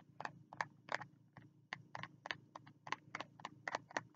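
A fingertip taps on the cover of a small spiral notebook with a green cover, held at the chest. About fifteen soft, dry, papery taps sound in an uneven rhythm. Each one is bright with a mid-range knock and dies away almost instantly over a faint low hum.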